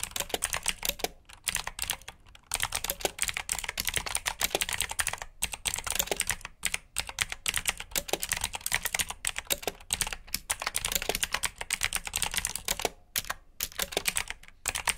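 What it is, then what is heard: Mechanical keyboard with clicky blue switches. Fingertips type continuously on the clicky keycaps of a black plastic RGB mechanical keyboard with blue switches. The result is a rapid stream of bright, sharp clicks with very short decay, broken by a few brief pauses.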